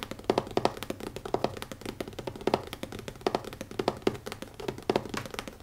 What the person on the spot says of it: (ASMR) - Fast Tapping on a Leather Notebook (No Talking)